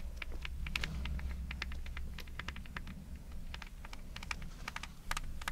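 Long red nails scratch the coiled, braided jute rope soles of a pair of espadrilles held together. Rapid, crisp, bright scratching ticks sound over a steady low hum throughout.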